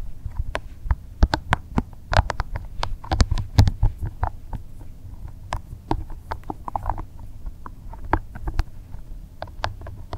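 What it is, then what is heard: Rubber spiky massage ball. A small, soft green rubber spiky massage ball is held in both hands while the fingers rub and squeeze its spikes. The result is a steady run of quick, dry rubbery clicks and taps over a low, muffled rumble, with each sharp tick dying away at once.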